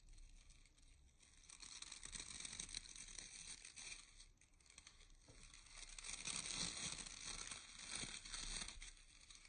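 Fingertips and short nails scratch and rake the dense black and light natural bristles of a solid, handheld round hair brush with a wooden barrel and handle. The result is a quiet, bright, crackling scratch with brisk, uneven strokes that swell and fade throughout.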